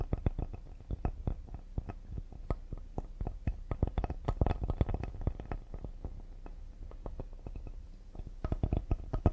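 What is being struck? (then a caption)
Cedar wood serving board. A solid cedar serving board is held upright while fingertips and short nails tap quickly and lightly on its face and top edge. The taps are short, dull, low-pitched knocks that die away at once, with a brief denser, louder burst in the middle and again near the end.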